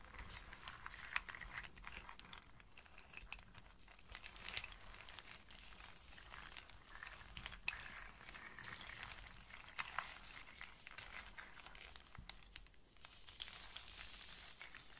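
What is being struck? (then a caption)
Walnuts and hazelnuts in their shells. Both hands with long painted nails rub, scratch and shuffle a loose pile of dry, hollow walnuts and smaller hazelnuts in their hard shells lying on a flat surface. The result is a steady, quiet, bright rustling clatter, with dense dry scraping and crinkling broken by brief sharp clicks as the shells knock together.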